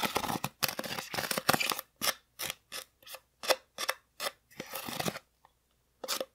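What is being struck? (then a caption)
Styrofoam craft pumpkin. An orange, hollow styrofoam craft pumpkin about 20 cm across, held tilted in one hand, is poked and scratched with the metal tip of a wooden-handled sculpting tool. Short bursts of bright, dry scratching alternate with brief squeaky scrapes that carry a faint mid-pitched tone, separated by moments of silence.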